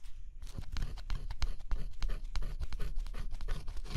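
A thin scraper stylus scratches the black scratch-off coating off a figure on a flat cardboard jigsaw puzzle. The sound is a close, quiet run of quick, dry scraping strokes with bright raspy edges over soft low thumps, each stroke stopping short with no ring.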